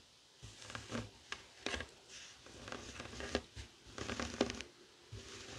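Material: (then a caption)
Woven fabric. Fingertips and short nails scratch a flat, heart-shaped woven tapestry fabric coaster lying on a wooden table. The result is a series of quiet, dry, rasping scratch bursts with bright, papery texture, separated by short near-silent pauses.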